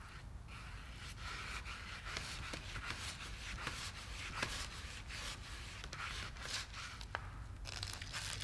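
A gloved hand scrubs the edge of the back of an old, table-sized painting on flat, solid, dry woven linen canvas, first with a soft paintbrush and then with a small stiff-bristled yellow scrub brush. The result is a steady, bright, scratchy rustle of bristles on the weave, with sharper scraping strokes standing out over a low background rumble.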